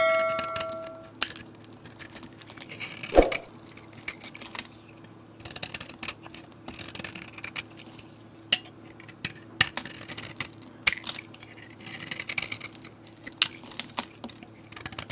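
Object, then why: Soap bar cut with a metal blade. A solid pale green bar of soap is held in the hand while a metal utility blade shaves chunks and curls off its edge. Crisp, dry scraping and cutting sounds come in many short bursts with sharp ticks, over a steady low hum. The sound is bright and fades quickly after each cut.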